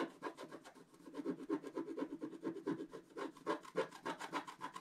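A wooden stylus scratches fine lines into a black wax-coated scratch-art paper page held flat, making a quick, uneven series of short, dry scratching strokes, roughly four per second. Each stroke is a brief, soft rasp centered in the mids with little low end, and there are quiet gaps between strokes.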